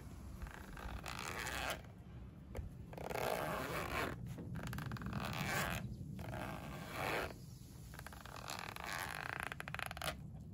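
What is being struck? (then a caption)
Polyester fabric pencil case with zipper. Fingertips with painted nails pull the zipper along the edge of a closed pink padded polyester pencil case, held flat by one hand as it lies on a windowsill, zipping and unzipping it. Coarse, rasping zip-teeth strokes of a few seconds each sweep up and down, with brief pauses between them.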